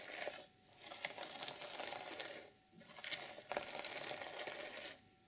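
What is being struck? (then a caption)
Plastic sequin fabric journal cover. Long purple nails rake and scratch across the plastic sequins of an open reversible sequin fabric journal cover, flipping them from black to silver. The result is a bright, dense, crinkly rattling with no low end, coming in sustained sweeps separated by brief quiet gaps.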